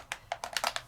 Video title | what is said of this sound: 609 Saturday with Stacey Craft Class Use new Decor Transfers & Alcohol Inks to make stunning gifts | shake it until you can hear that marble or ball rolling around, because that's mixing the ink and the mica together